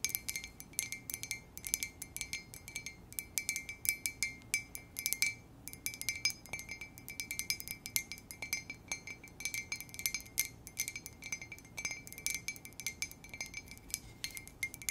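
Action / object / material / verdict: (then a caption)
tap / ceramic coffee mug / ceramic / none. An empty, hollow white ceramic coffee mug with a black letter K is held in both hands and tapped with long acrylic nails. Rapid, light clicking taps ring with a bright, glassy tone near 2.3 kHz that dies away almost at once. The taps run steadily for the whole clip, with very little low end beneath them.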